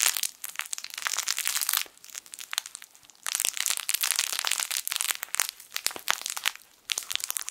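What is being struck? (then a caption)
Soft fabric toy with crinkly plastic film inside. A yellow, sun-shaped plush fabric crinkle toy with crinkle film inside is crushed and squeezed with fingertips. It gives dense bursts of bright, crisp crinkling and crunching, with almost nothing in the low end. Loud squeezing stretches alternate with softer, sparser crackles.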